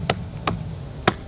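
Cement render on an old stone wall is tapped three times, giving short, dry, hollow knocks with almost no ring. The spot is hollow because the cement has come away from the stone in large sheets, and it falls off taking part of the stone with it.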